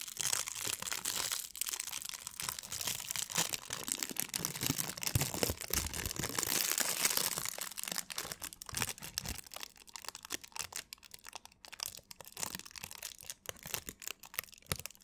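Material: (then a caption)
Plastic film. A thin, crumpled sheet of clear plastic film is held in both hands in front of a foam-covered microphone while long nails and fingertips crinkle and scratch it. The result is dense, bright crackling and rustling for the first eight seconds, then sparser, sharper crinkles and scratches for the rest of the clip.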